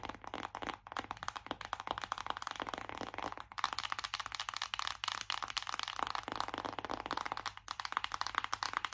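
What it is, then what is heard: Cardboard eyeshadow palette. Long acrylic nails tap rapidly on a flat, hollow, printed cardboard eyeshadow palette held up in both hands. The result is a dense, continuous stream of dry, crisp clicks centred in the mid-high range, with almost no low end, and each tap dies away almost instantly.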